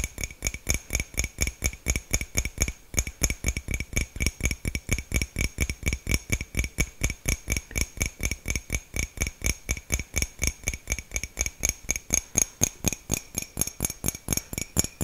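A small, hollow white ceramic mug with a printed design is held close to the mic and tapped with fingertips and nails. About 70 quick, short taps come in a fast, fairly steady patter. Each tap has a dull low thump and a bright, glassy clink that dies away almost instantly.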